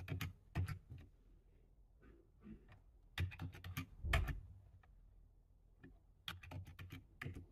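Fingertips type on a low-profile plastic computer keyboard, close up. Irregular bursts of sharp, clicky key taps give bright clatter over a soft low thump, with quiet pauses between the runs of keystrokes.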